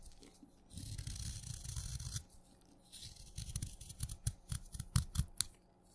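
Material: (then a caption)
Chalk. A craft knife blade shaves crunchy curls off the surface of a solid blue chalk stick that has been soaked wet and is held in the fingers. A steady, gritty scraping stroke runs for over a second, then after a short pause comes a run of short, crisp crunches and sharp bright snaps as more curls are cut away.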